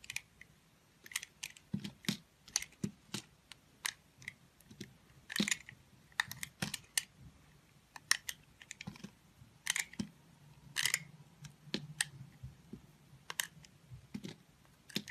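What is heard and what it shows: A remnant of a multicolored solid soap bar, held in the fingers, is sliced and scraped with a utility knife blade. Short, crisp, bright clicks and scratchy scrapes come in an irregular stream, some clustered into brief rasping bursts over a faint low hum. Each cut stops dead with no ring.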